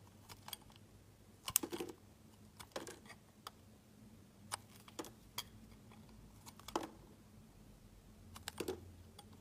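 A metal utility knife blade shaves and scrapes thin slices off a solid, faceted pink heart-shaped soap held in the hands. Quiet, crisp, bright clicks and short scraping strokes come in scattered bursts, with a few longer rasping shaves, over a faint steady low hum.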